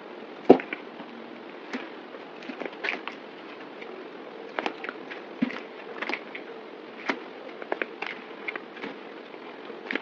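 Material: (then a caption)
Soap. A partly carved solid green bar of soap is held in the hand while chunks are cut and scraped off it with a yellow box cutter blade. Many short, crisp snaps and scraping clicks ring out over a steady mid-range hiss, with the sharpest crack right at the start.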